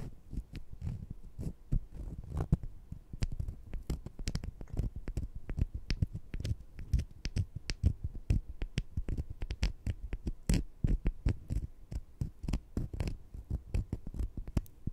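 Small, solid sugar-coated jelly fruit-slice candies are held in the fingertips, and one candy is scratched against the other. This makes a steady run of soft, dull scratches and rustles, mostly low and muffled, with occasional brief bright ticks.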